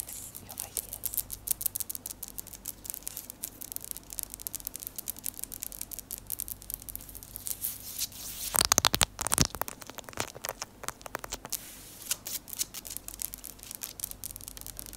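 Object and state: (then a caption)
Ceramic tile floor tapped with fingernails. Long orange acrylic nails on both hands rapidly tap and scratch the tips across a flat, solid, light-colored ceramic tile floor. The result is a dense stream of crisp, high-pitched clicks and scrapes that stop instantly with no ring, with a louder flurry around the middle.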